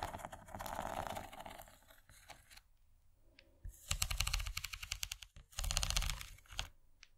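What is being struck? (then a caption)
Rigid plastic serving tray. Long fingernails on one hand scratch and tap across the textured ridges of an empty, rigid yellow plastic corn-shaped serving tray. Bursts of rapid, dry clicking taps and bright scratchy rasps come in uneven waves. A quieter stretch in the middle is followed by two louder, denser flurries near the end.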